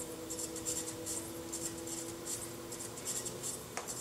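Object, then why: Unfired clay bowl on a pottery wheel. A metal chattering tool held in the fingertips scratches and chatters against the outer surface of a small, unfired, leather-hard clay bowl, solid-walled and hollow, set upside down on a spinning pottery wheel. Repeated bright, hissy scraping bursts pulse over a steady low hum near 330 Hz, and a sharp click sounds near the end.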